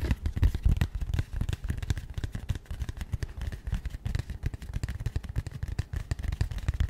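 A small, rigid, matte grey cardboard box held in both hands is tapped and scratched rapidly with long nails. The result is a dense, continuous patter of short, dull, low thumps that stop almost instantly, with a faint scratchy texture above them.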